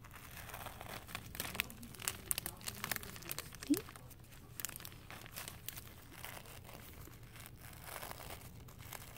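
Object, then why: Thin plastic sheeting over a carpet roll. Thin clear plastic sheeting wrapped around a green carpet roll is grabbed, crinkled and rubbed with fingers and long painted nails. A continuous bright crackling and crinkling is heard, with dense rustling and sharper snaps standing out, including a loud pop near the middle.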